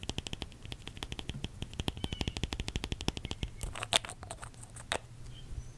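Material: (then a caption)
Glass. A small red nail polish bottle with a glass body and black plastic cap, held in one hand, is tapped quickly with long red acrylic nails, producing about 37 rapid, dry clicks with a glassy tone near 3.6 kHz and almost no ring. A steady low hum runs underneath, and the taps grow sparser and softer toward the end, with a sharper, louder clack near the four-second mark.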